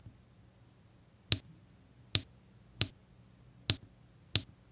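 A pink drill pen with a metal tip taps small square resin diamond-painting drills into place in rows on a flat adhesive canvas. Five light, bright clicks sound at uneven intervals, each sharp and dying away almost instantly over a faint low hum.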